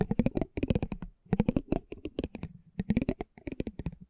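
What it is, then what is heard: Cardboard trading card. A metal spiked pinwheel is rolled over a small, thin cardboard basketball trading card held in the hand. Quick bursts of dry, crisp ticking clicks are heard, each burst separated by a brief pause. The clicks are short and close, with a low papery body and a faint bright edge.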